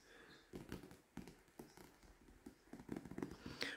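Fingertips with short nails tap and scratch the glossy card cover of a solid paper Goosebumps paperback, "Night of the Living Dummy," lying flat on a small stack on a wooden table. Quiet, dull taps mix with soft papery scratching, and a brighter scrape comes near the end.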